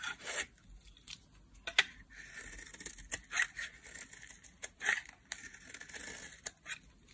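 A solid pink translucent bar soap, held in a hand with long nails, is shaved with a metal blade. Crisp, bright scraping and cutting strokes come at an irregular pace, with short sharp peaks over a quiet background.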